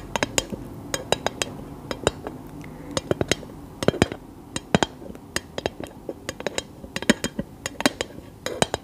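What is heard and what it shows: A scented candle in a glass jar is tapped with long nails, giving many short, bright glassy clinks. The taps come in quick irregular runs over a faint steady background hiss, each clink dying away almost at once.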